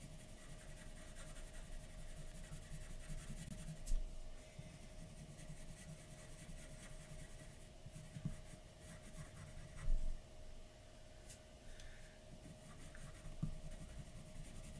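A graphite pencil scratches and rubs fine strokes across a large flat white paper sheet on a dark table, shading the lips of a drawing. The soft, continuous scratching carries four louder strokes over a faint steady tone.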